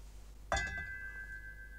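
An empty, unfilled metal speaker stand is tapped once, producing a sharp knock followed by a bright, sustained metallic ring around 1.6 kHz that lingers to the end of the clip. This ringing is undesirable for sound and is the main reason such stands are mass-loaded or filled.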